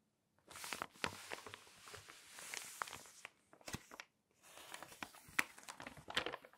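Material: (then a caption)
Glossy paper. A palm and long nails rub and stroke the pages of an open glossy paper magazine, and the pages are flipped. Bright, crinkly swishes are broken by sharp paper snaps and clicks, with a couple of brief silent pauses between bursts.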